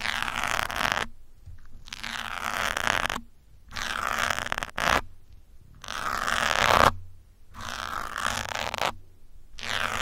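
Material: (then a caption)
Foam. Metal pins held from above scratch the top of a grey foam windscreen on a black microphone, producing close, rough, bright scraping. The scratching comes in repeated bursts of about a second, separated by brief silences, with a faint low hum beneath.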